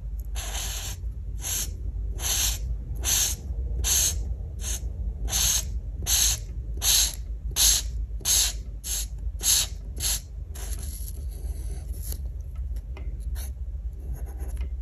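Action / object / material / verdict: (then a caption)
scrape / felt marker tip on a paper sheet / paper / none. A plastic art marker with a felt brush tip, held in the fingers, is rubbed steadily across a flat printed paper coloring page of an oven mitt drawing on a wooden table. Short, bright, scratchy coloring strokes repeat at an uneven pace over a low, constant hum. The strokes trail off into fainter scratching near the end.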